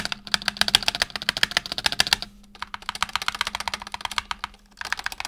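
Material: PBT plastic.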